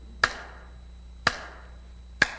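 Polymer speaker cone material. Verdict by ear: Damped.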